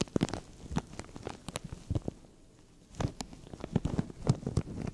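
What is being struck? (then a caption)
Thin plastic bag. Fingernails scratch at a translucent thin plastic bag stretched over a microphone while fingers pinch and crinkle it, making close, soft crackles and short, dry rustling bursts. The sound is muffled and bass-heavy with little brightness, and the crackles pause briefly in the middle before starting again.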